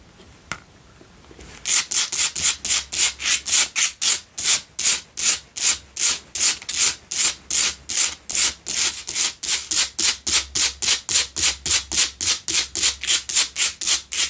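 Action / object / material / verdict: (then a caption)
scrape / salt block candle holder / rock salt / none. Long pale-blue coffin nails scratch the rough sides of a lit, rectangular pink Himalayan salt double candle holder, a solid salt block resting on a dark cloth. After a faint tick and a quiet moment, a fast, steady run of bright, dry, raspy scrapes begins and continues to the end, each stroke stopping short with almost no ring.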